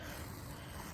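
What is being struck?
Nothing is struck.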